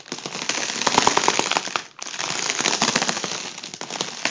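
A fingertip taps and scratches the taut foil of an inflated, hollow, air-filled tubular section of a gold mylar foil balloon. The result is a dense, bright crackling rustle full of sharp ticks, with a few faint tonal pings in the middle. It pauses briefly about halfway through, then resumes.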